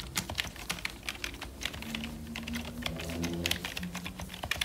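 Fingertips in purple nitrile gloves type and tap on the keys of a full-size black plastic membrane computer keyboard with a hollow casing. Quick, bright, dry clicks are heard with very short decay. Beneath them runs a faint low steady hum.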